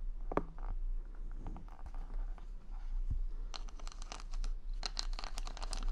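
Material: Plastic.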